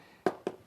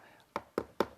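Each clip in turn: First: Two quick, dry taps with a firm mid-pitched knock and no ring: a solid hard coat stucco wall. Second: Three quick knuckle knocks on a wall give a papery, slightly hollow thud, typical of foam-backed EIFS cladding.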